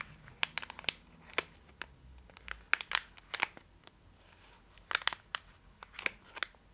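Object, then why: Foil candy bar wrapper. Long acrylic nails scratch and crinkle a full Twix bar in a gold metallic foil wrapper held close up. A quick series of sharp, bright crackles and scratchy clicks comes in uneven bursts over a quiet background, with almost no low end and each snap dying away instantly.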